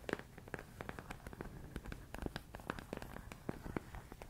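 A medium clear plastic storage container full of rice grains is tapped and scratched with fingertips and nails. Quick, dry taps and scratchy clicks repeat in an irregular stream, with faint shifting of the grains between them. Each hit is short with no ring, and the overall level is quiet and weighted toward the low end.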